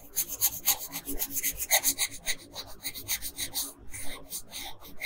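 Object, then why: Wooden colored pencil on thin paper. A wooden colored pencil, held by a hand with long pink nails, shades small areas of a thin paper coloring sheet lying flat on a table. A quick, uneven run of short scratchy strokes gives a dry, bright rasping sound with a soft low rumble underneath, each stroke stopping dead with no ring.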